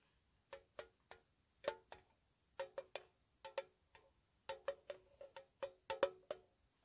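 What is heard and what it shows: A small, hollow, square white-painted metal tea tin (Mr. Strong English Breakfast), lid on and held in the hand, is tapped slowly with long painted nails. Nineteen soft, short, hollow taps sound at an uneven pace, each a quick ringing tick around 555 Hz with a bright click on top that dies away almost at once.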